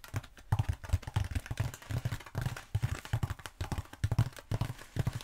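Long acrylic nails tap quickly on a long black textured foam roller held upright. The result is a rapid stream of soft, dull, low thumps with almost no ring, each tap dying away almost at once.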